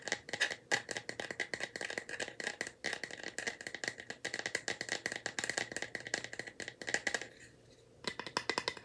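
A small, light bamboo wooden box is held in both hands, tapped and shaken so its loose contents rattle inside. The result is a dense run of quick, dry clicks with a bright tone around 2 kHz, which briefly falls quiet near the eight-second mark before starting again.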